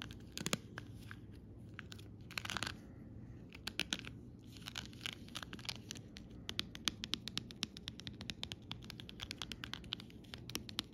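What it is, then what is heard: Plastic 3D sticker sheet. Fingertips with long red nails scratch and rub across a flat sheet of raised, glossy plastic flower and bottle stickers on a clear, crinkly plastic backing lying on fabric. The result is a dense run of quiet, bright scratches, crinkles and crisp little clicks that die away instantly over a faint low hum.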